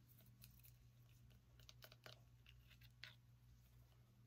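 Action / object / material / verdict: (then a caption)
tap / small pumpkin / pumpkin rind / none. Fingernails tap and scratch the skin and stem of a small orange pumpkin, making quiet, irregular dry ticks and crisp scraping bursts over a steady low hum.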